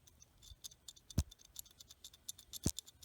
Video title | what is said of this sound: NWBUC Virtual Sunday School (May 17, 2020) | if you shake it you might be able to hear that there's something rattling around